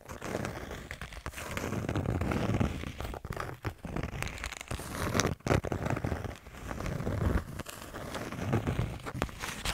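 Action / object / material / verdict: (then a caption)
scrape / small kraft cardboard notepad with paper pages / cardboard / none. Long nails scratch and tap the cover and page edges of a small kraft-cardboard "Les p'tites notes" notepad with colourful paper pages. The result is a continuous dry, crinkly scratching with frequent soft, short taps, mostly low and muffled, with brief bright flicks.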